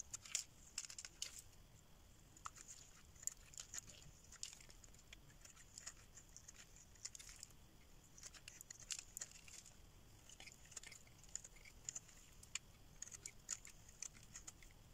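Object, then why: Bar of soap scraped with a metal blade. A solid pink rectangular bar of dry soap, held in the hand, is scraped with a metal blade as shavings fall away. The result is a quiet, steady run of many short, crisp scratches and ticks, bright and high with very little low end, each dying away almost instantly.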